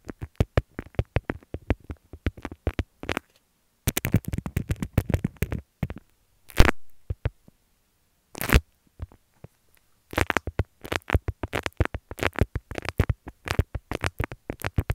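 Long fingernails scratch a folded beeswax-coated cotton wrap with a leaf print, making quick, dry, crackly scratches in dense bursts. The scratching pauses and thins out in the middle, with a brief louder rasping swell and a short burst, before rapid scratching resumes to the end.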